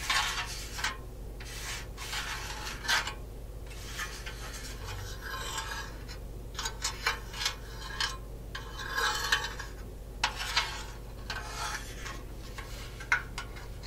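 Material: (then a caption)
Metal. Long nails scratch and rub over the painted metal surface of a cat figurine, near its base and body. Repeated bright, raspy scraping bursts come in uneven strokes over a steady low hum, with occasional sharper clicks where the nails catch the metal.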